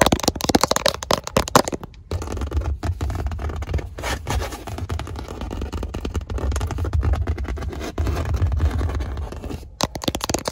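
Long nails and fingertips quickly scratch and tap on a flat, padded black leather car seat panel. Rapid dry scratching and crackly rubbing mix with soft, low, dull thumps from the padding, and the sound has brief quieter dips near 2 and 9.7 seconds.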